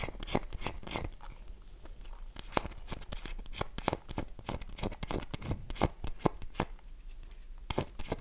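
Long nails scratch and dig into the surface of a solid, oval, dry bar of soap held in the hands, leaving crumbs behind. The result is a steady run of short, dry, crisp scratches and clicks, with bright, broadband bursts over a soft, low rustle.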